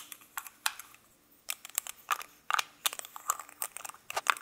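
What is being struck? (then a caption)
Metal lipstick tube and cap. Fingertips of both hands click the cap of a small gold-coloured metal lipstick case, with lipstick inside, on and off the tube while a second lipstick lies still nearby. A rapid, irregular run of sharp, dry, bright clicks and light scrapes is heard, each snapping off instantly with no ring, over a quiet background.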